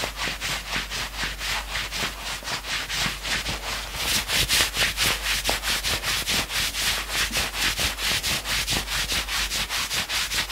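A hand rapidly scratches and rubs the maroon knit fabric sleeve of a worn sweatshirt. The result is a fast, steady run of bright, hissy scratching strokes with little low end. The strokes grow slightly louder about midway through.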